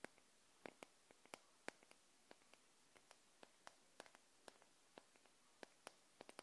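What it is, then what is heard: Glass candle jar. Long nails tap and scratch the glass neck of a small wax-filled glass jar candle held in the hand. About 21 short, sharp, bright clicks with almost no ring are heard, irregularly spaced over a faint hiss.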